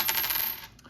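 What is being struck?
Copper one-cent coin.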